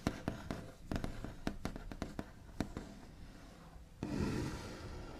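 The backs of long nails tap, rub and scratch across a solid, flat white-finished wooden tabletop. A series of short, dry clicks over a soft scratchy texture gives way near the end to a louder, continuous rubbing scrape.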